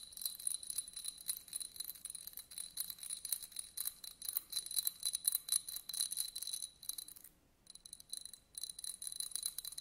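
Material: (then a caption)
Glass. A small, hollow, empty yellow glass votive candle holder with pyramid studs is held in the hand and scratched across the studs with a thin white stick. The result is a quiet, dense run of bright, dry scraping ticks with an irregular rhythm. There is a brief pause near the end before the scratching resumes.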